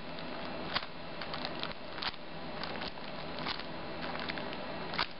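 Long nails scratch and tap the clear plastic sleeve of a flat sheet of 3D candy stickers with a paper heart note, held upright in both hands. Soft, steady crinkling runs throughout, broken by sharper, brighter taps that stand out briefly above the rustle.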